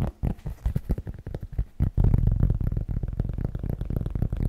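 Fingers tap a cork object fast and aggressively, producing dull, muffled low thuds with almost no ring. The taps are uneven and spaced apart at first, then run together into a louder, denser patter after about two seconds.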